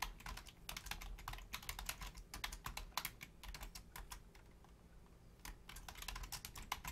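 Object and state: Plastic computer keyboard.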